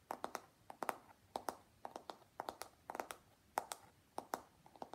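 Fingertips and nails tap and scratch along the smooth plastic back of a long, hollow pink plastic paddle hairbrush with black bristles. The result is 22 quick, dry clicks in irregular clusters, each with a brief bright edge and a mid-range knock near 780 Hz. Every click dies almost at once, with very little low end.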